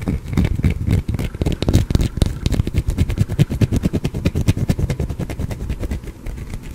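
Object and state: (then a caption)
Soap bar scratched with fingernails. A small, solid green bar of soap held in the hand is scratched with fingernails close to the microphone. The result is a rapid, uneven stream of short, dry, crackly scrapes, heavy in the low end, with a few brief bright clicks and no ringing.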